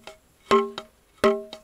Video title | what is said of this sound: Stone Roof #3: Race to the Top | you can hear kind of a rattling listen you hear that kind of buzz